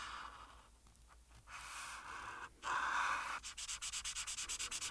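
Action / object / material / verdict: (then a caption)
scrape / marker tip on a paper sheet over a board / paper / none. A marker tip held in the hand rubs in strokes across a thin printed paper coloring page lying flat on a solid board, coloring in a pink dress. Soft, dry scratching strokes build into a louder sustained rub, then turn into quick, even back-and-forth strokes with a bright, papery hiss.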